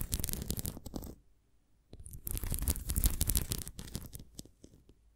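Long nails scratch the rim and bumps of an upright red plastic flying disc toy. Dense, rapid scratching with a heavy low rumble and bright crackle comes in bursts, breaks off into near silence for about a second, then resumes and fades out.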